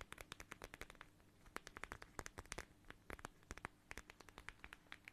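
Long nails scratch and tap a small, flat, transparent plastic pouch shaped like a watermelon and filled with red gel beads. Dozens of quick, crisp clicks and scratchy taps sound bright and dry, with no ring after each one. A faint low hum runs steadily underneath.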